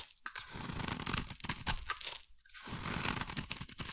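A metal blade carves a hand-sized, solid purple-and-white striped bar of soap, making dense, bright, crunchy scraping and crackling. The carving comes in two bursts separated by a brief quiet pause near the middle.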